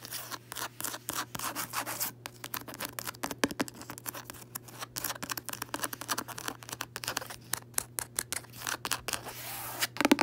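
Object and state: Cloth-bound hardcover book being scratched.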